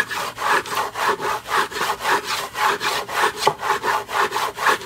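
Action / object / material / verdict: scrape / textured back of a wall plaque / unknown / none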